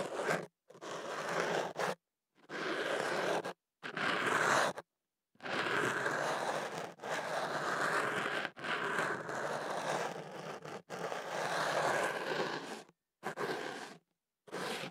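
A thin ear pick makes slow scratches inside a hollow white kenaf paper tube wrapped around a microphone. Dry, papery scraping strokes sit mostly in the midrange, with little low end and a little high hiss. The scratches come in bursts of about a second or more, separated by brief silences.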